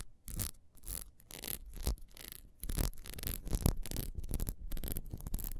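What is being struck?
Ribbed beeswax candle.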